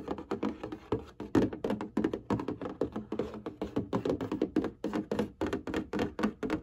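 Fingertips and long nails tap and scratch across the surface of a printed cardboard box of hanging folders. A quick, steady series of dull, hollow taps rings mostly in the low-mid range, with faint scratchy rustle between them. Each tap dies away almost at once.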